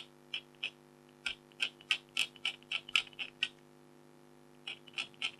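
A red-handled stylus scratches the tiger's face area on a flat, thin, black-coated foil scratch art card while a hand with blue nails steadies the sheet. Short, bright, dry scratches come in irregular bursts with brief pauses between them, each fading almost at once. A faint, steady low hum sits underneath.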